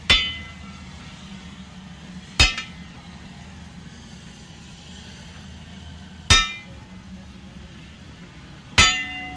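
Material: Steel.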